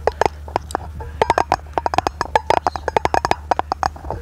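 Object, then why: Round aluminum lid. A round brushed aluminum lid, its face held in both hands, is tapped rapidly with long painted nails. About 27 quick, dry clicks ring in a mid pitch near 870 Hz with bright edges and almost no decay, over a steady low hum.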